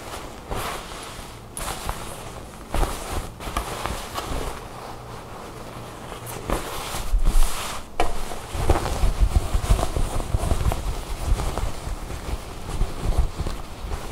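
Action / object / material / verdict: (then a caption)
scrape / satin fabric garment / satin / none. Long nails rub and scratch a black satin-like garment with a bow lying on a table, and hands stretch the fabric. Soft, uneven scratching and rustling is heard, with brief sharp swishes and a denser, louder stretch of rubbing in the second half.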